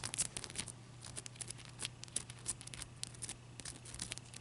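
Long dark-purple nails scratch and tap the surface of a clear, solid, palm-sized ice chunk as it is held and turned on a white towel. A quiet, rapid run of crisp, bright ticks and short scratchy strokes plays over a steady low hum.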